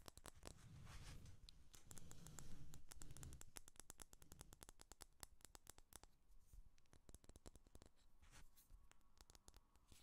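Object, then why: Small glass candle jar filled with wax. Long fingernails rapidly tap and scratch a small amber glass candle jar filled with wax, with a black lid and paper label, held in a hand, striking both the glass and the label. The result is quiet, dry, irregular clicks with almost no ring, mixed with soft scratchy rustling that swells slightly a couple of seconds in.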